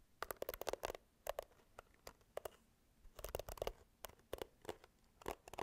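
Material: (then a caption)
Plastic. Long nails scratch and tap a pink plastic hairbrush with a handle and bristle pad. Quiet, dry clicks and scratchy bursts come in quick clusters separated by short pauses. Each sound has a hollow midrange tone and dies away almost instantly.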